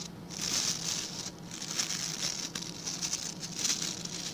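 Fingertips and nails scratch and flick the tufts of stiff white and blue plastic bristles on a hand-sized blue plastic scrub brush. The result is a steady, dense, bright crackling and rasping with a high, hissy edge that swells and eases in short waves, with little low end beneath it.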